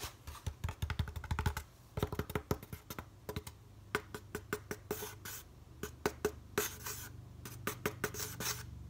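Fingertips and nails tap and scratch a white molded polystyrene foam packaging insert held in the hand. Quick, dry, hollow taps with a low thump come in rapid runs and scattered clusters, broken by bright, hissy scratching bursts on the foam surface. Each tap dies out almost at once.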